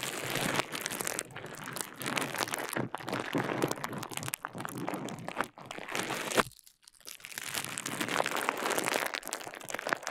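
A small rolled piece of clear plastic bubble wrap, held in one hand beside the mic, is twisted, squeezed and popped by the fingers. Dense, bright crinkling and crunching runs almost throughout, broken by sharp little pops. There is a brief near-silent pause just before the seventh second, then the crinkling resumes.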